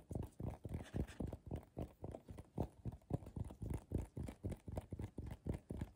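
A medium, hollow, empty bowl of coiled colorful paper sits upside down as both hands tap quickly on its base and sides with fingertips and short nails. The taps give a continuous run of soft, dull, low thumps with a slight rattle, uneven in rhythm, each dying out almost at once.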